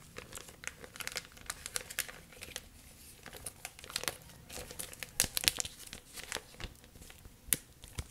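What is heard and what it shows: A thin, clear, flexible plastic sheet or bag is held in both hands and stretched and crinkled by fingertips with long nails. It gives a steady run of quiet, bright crackles and rustles, with sharper snaps standing out now and then. A faint steady hum sits underneath.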